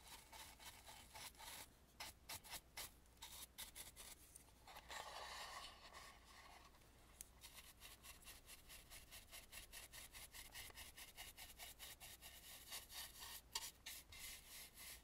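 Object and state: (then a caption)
Wooden mask, brushed. A dry bristle brush is swept over the inner surface of a hollow Balinese carved wooden mask, painted dark inside with a red rim. The result is a quiet series of short, bright, papery brushing strokes, with one longer, smoother rub in the middle, over a faint steady low hum.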